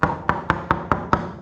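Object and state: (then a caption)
Sound wooden boat hull plank. Six taps sound solid wooden boat hull planking inside a 26-inch repair area. Each tap is a short, sharp knock with a clear mid-pitched tone, and the spots tested are judged fine.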